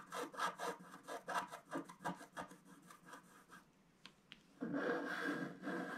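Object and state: Scratch-art card scraped with a wooden stick.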